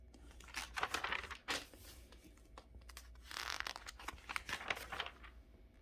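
Fingertips rub and turn the pages of a thin glossy paper DuPont Registry car magazine lying open on a fabric couch. The pages flip and crinkle in bright, crisp rustling bursts, with quieter soft rubbing and a low steady hum in between.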